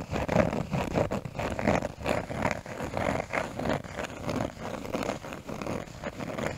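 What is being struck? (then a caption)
Small cork piece. A small brown cork piece is held close to a microphone and scratched with fingernails, producing a steady run of dry, crackly scratching bursts. The strokes come and go irregularly, with most energy in the low and middle range around 500 Hz.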